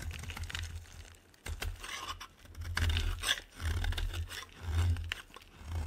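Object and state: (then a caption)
Dry bar soap shaved with a blade. A solid, dry white bar of soap is shaved with a metal blade, producing irregular, repeated crunchy scraping strokes. Each stroke has a bright, crisp texture over a strong low rumble, with short pauses between swells.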